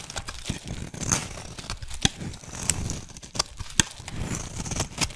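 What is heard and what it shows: A flat metal blade shaves a solid rectangular white soap bar held in one hand, peeling off thin curls. Dry, crinkly scraping and tearing sounds carry a low rumble and bright, crisp edges, with several sharp ticks standing out as the blade cuts.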